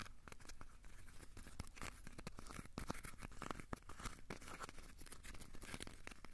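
A small, solid, crumpled ball of aluminium foil is scratched and rubbed with the fingertips. The result is a quiet, steady stream of dense, crackly scratching, with many brief, dry clicks and bright crinkles over a low rumble.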